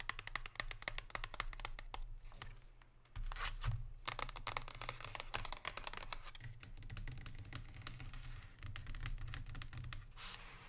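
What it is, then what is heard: Cardboard chocolate box. Long pink nails rapidly tap and scratch the glossy surface of a thin printed cardboard chocolate box that is lying flat and being held. The result is a dense stream of short, dry, bright clicks and scratchy rustles over a steady low hum, with a brief quieter patch around the three-second mark.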